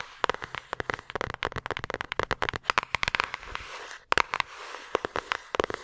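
Long acrylic nails tap and scratch the surface of a flat yellow paper envelope held in both hands near the microphone. Rapid, sharp, crackly clicks come in dense bursts with a faint papery scratch between them, centered in the midrange with some bright edge. A short pause at about four seconds breaks up the pattern.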